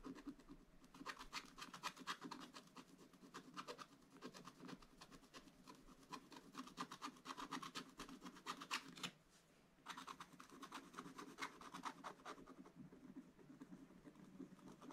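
A wooden stylus scratches the top right of the picture on a flat, black-coated scratch-art paper page while the other hand holds the book. Rapid, dry, bright scratching strokes run steadily, with a short pause just after nine seconds before the scratching resumes.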